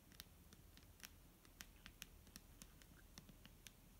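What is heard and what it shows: A clear plastic micellar water bottle filled with liquid is tapped with fingernails in a quick, irregular series of sharp, bright clicks. Each tap dies away almost instantly over a soft, low background rumble.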